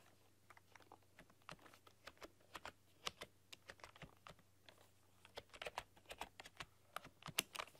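Long dark-polished nails and fingertips type on a full-size plastic computer keyboard with black keycaps and a rainbow backlight, pressing and clicking the keys. About two dozen sharp, bright clicks and taps come in uneven bursts, each dying away almost instantly, over a faint steady low hum. The typing is quiet and crisp, with a few louder clusters toward the end.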